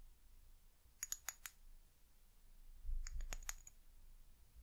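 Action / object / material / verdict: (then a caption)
tap / small amber glass bottle / glass / none. A small brown amber glass eucalyptus oil bottle with a paper label and white plastic cap is held in the hands and tapped and scratched with long acrylic nails. About ten short, bright, clicky taps with a faint high glassy ring come in two quick bursts: four near the one-second mark and six a couple of seconds later. Between the bursts there is only a low, quiet background rumble.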